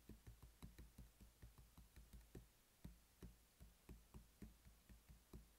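A closed, hollow black hard plastic pill organizer case lying on a table is tapped with the fingertips and short nails of both hands. A steady series of quick, dull, low knocks is heard, each dying away almost at once with little brightness.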